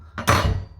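A freshly fried homemade hash brown of grated potato and onion is tapped twice in quick succession, giving two short, crisp, hollow knocks with a brief rustling crunch. The hash brown is very crispy.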